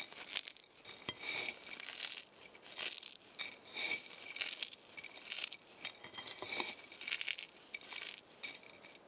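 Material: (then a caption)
Eggshell. Dry eggshell fragments are picked up from a pile on a white plate, crushed in the fist, and sprinkled back onto the pile. The result is a brittle, bright crunching and crackling that comes in repeated bursts, with tiny clinks in between and almost no low end.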